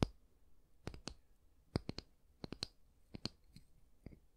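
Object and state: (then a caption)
Wooden hair brush back. Fingernails tap and click on the solid wooden back of a small oval wooden bristle hair brush, giving fourteen short, dry clicks at an irregular pace. Each tap is quiet and bright with a soft low knock underneath, dies away almost at once, and is separated from the next by near silence.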